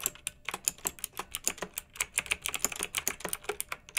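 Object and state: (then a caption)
Plastic mechanical keyboard with round keycaps. Both hands type with long-nailed fingertips on a pink backlit plastic mechanical keyboard with round, typewriter-style plastic keycaps. About 26 quick, bright, clacky keystrokes land in a steady patter, each dry and short with almost no ring or low end.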